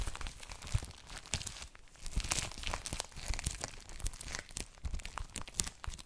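Fingertips touch, rub and tap the clear plastic cellophane sealing an A4-size ELLE paper magazine, making it crinkle. Dense, bright crackling and crunching rustles run throughout, with soft low thumps from the taps underneath. The sounds are dry and stop short with almost no ring.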